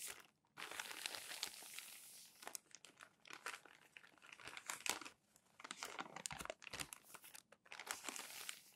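Flat palms rub and press a stack of crumpled glossy magazine pages smooth, and fingers lift and turn the pages. The result is bright, dense crinkling and rustling in bursts, with sharp crackles and short quiet pauses between strokes.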